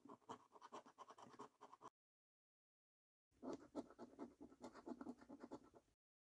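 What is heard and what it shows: A coin scratches the latex coating off the game panels of a thin, flat paper scratch card, making quick, dry rasping strokes with a papery midrange texture. The sound comes in two bursts of rapid, uneven scrapes separated by a short silence, and each stroke stops dead with no ring.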